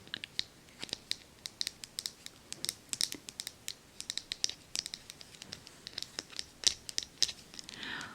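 Tapping on the wooden handle of a hard-bristle scrub brush used for cleaning cast iron produces a rapid, irregular run of light, dry clicks. The clicks are bright and high-pitched with almost no low end, and each dies away instantly. A brief soft rustle closes the clip.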